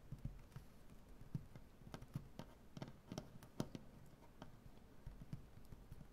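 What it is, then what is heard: Solid maple butcher-block tabletop tapped with fingernails. Fingernails of both hands tap on a large, solid maple butcher-block tabletop in a quick, irregular series of quiet taps. Each tap is a dull, low knock with a faint bright click that dies away almost instantly.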